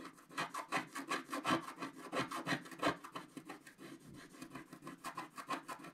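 A thin wooden stylus, held in the fingers, scrapes the black wax coating of a colourful wax-coated scratch-art paper sheet lying flat on a table while the other hand steadies the sheet. Continuous, dry, rasping scratches come in quick, uneven strokes of about three per second, with a bright, papery hiss over a faint low body.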